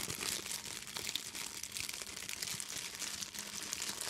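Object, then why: Clear plastic bag. An empty clear plastic bag is scrunched and crinkled close up by fingers with long nails. A steady, dense run of bright, crackling crinkles continues without pause. The texture is high and crisp with almost no low end.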